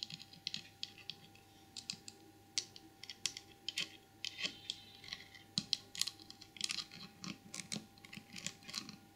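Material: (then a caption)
Porcelain. Long purple nails and fingertips tap and scratch the side and ear of a small white glazed porcelain elephant trinket box with a painted saddle. The result is an irregular run of quick, bright, dry clicks with no ring, mixed with soft scratchy rasps. A faint steady tone hums underneath.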